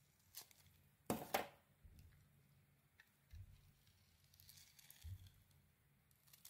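A metal blade scrapes and carves the gold glitter coating off a solid rectangular white soap bar held in a hand with long red nails. A loud, crisp double scrape near the start is followed by quieter scratchy, crumbly scrapes and soft low thumps, with bright flaky crackle throughout a hushed background.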